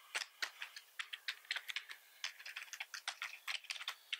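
Fingertips type and repeatedly press the keys of a black plastic computer keyboard with red keys. About twenty-one quick, bright, clicky taps land in an uneven rhythm, each dying out almost instantly with no low-end thump. The clip is quiet overall.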